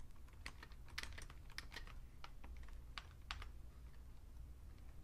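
Two hands type with their fingertips on a vintage beige plastic full-size Fujitsu Siemens computer keyboard. A rapid, uneven stream of short, bright plastic key clicks sounds over a steady low hum.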